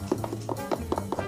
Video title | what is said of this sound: Woody surprise Jackson Wang with his favorite fruit Durian💚 | this is dense yes so it's hard